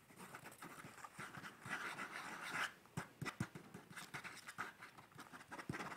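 A pencil sketches on the page of a hard-backed paper sketchbook held upright in one hand, making repeated short, scratchy strokes of graphite on paper. The soft, bright scraping comes in uneven bursts, some strokes longer and denser, a few sharper taps standing out, all at a quiet, close level.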